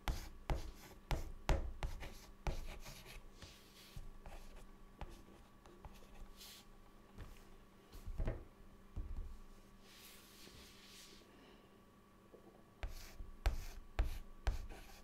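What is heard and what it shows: A hand writes with a white chalk stick on a large, flat, dark, solid chalkboard. Sharp chalk taps and scratchy strokes come in bursts at the start and again near the end, with quieter, softer rubbing in between.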